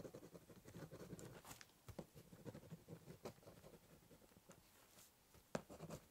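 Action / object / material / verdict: scrape / corrugated cardboard box with ballpoint pen / cardboard / none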